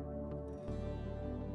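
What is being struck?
Nothing is struck.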